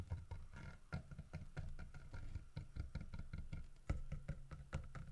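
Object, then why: Carved wooden bear statue. Fingertips and nails knock and tap on a solid carved wooden bear statue holding a fish, striking both the fish and the bear's body. It makes a quick, irregular series of dull, low, short knocks, with faint bright clicks from the nails on top.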